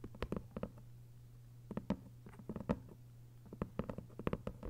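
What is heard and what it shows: Long white nails tap quickly on a thick hardcover novel with a paper dust jacket lying flat, making about 19 short, crisp clicks with a dull, low body. The taps come in uneven bursts with quiet gaps between them, over a steady low hum.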